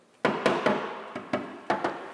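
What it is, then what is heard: Car underbody tapped, sound and not rotten. The steel underbody of a 1986 MG Montego Turbo, raised on a lift, is tapped seven times to check for rot. Each tap gives a hollow, tinny knock with a short metallic ring around 500 Hz. The underside turns out solid and not rotten.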